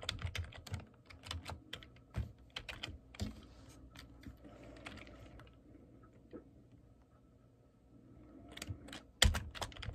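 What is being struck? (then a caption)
Plastic computer keyboard. Fingertips type on the keys of a black plastic computer keyboard. Quick bursts of short, bright clacks sit over a low thump, then a quieter stretch follows with only a faint rustle. A final flurry of keystrokes closes the clip, including one loud clack near the end.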